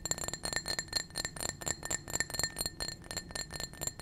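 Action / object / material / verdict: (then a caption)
tap / small glass drinking cup / glass / none. A small, hollow, clear blue-tinted glass drinking cup that appears empty is held in a hand and tapped and scratched with painted fingernails. The result is a fast, irregular run of bright, short clinks, each with a brief high ringing tone.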